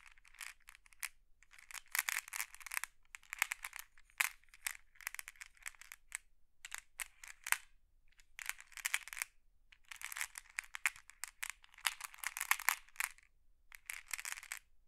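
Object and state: Glass decorative pebbles.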